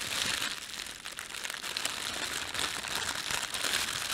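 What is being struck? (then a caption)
Thin plastic bread bag. Fingertips rub, pinch and crumple a thin, empty, red printed plastic bread bag. The result is a continuous, bright crinkling with dense, high crackle that swells and eases without clear breaks.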